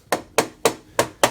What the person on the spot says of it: this just sounded like a tin can and you remember when I did the roof it's just solid so I took a lot of the noise out of it